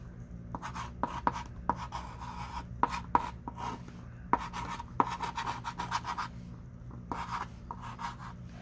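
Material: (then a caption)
Chalk. A thick stick of pink chalk writes in scratchy strokes across a small wooden-framed chalkboard lying flat, while the other hand rests flat on the board. Short, sharp taps and brief squeaks near 1 kHz punctuate a dry, raspy scratch that carries into bright high tones. A steady low hum runs underneath throughout.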